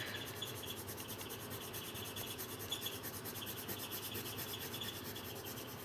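A coloured pencil tip rubs and scratches across a thin paper page of a colouring book lying flat on a table while shading. The result is a steady, quiet, bright scratchy hiss with rhythmic strokes and a papery rasp centred around 3.4 kHz, continuing without pause for the whole clip.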